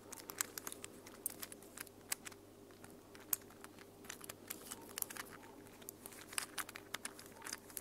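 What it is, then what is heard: Plastic infinity cube fidget toy. A small mint plastic infinity cube fidget toy is unfolded and refolded by hands with long nails. Quiet, sharp plastic clicks and crinkly taps come in irregular bursts, bright and short with almost no ring, over a faint steady low hum.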